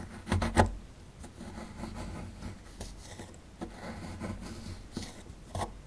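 A metal pick tool scrapes and scratches a small, solid plaster excavation block held in the hand, knocking crumbs away. It opens with a loud, gritty burst of scraping, then settles into quieter, irregular rasping with a few sharper scratches. The sound is dry and low-weighted.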